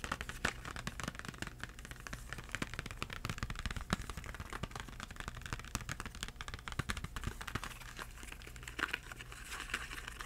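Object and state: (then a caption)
Cardboard crayon box. A small, hollow yellow Crayola cardboard box filled with crayons is held upright and tapped rapidly with the fingertips. The result is a steady stream of soft, dry, papery taps with a light crinkling texture over a faint, constant low hum.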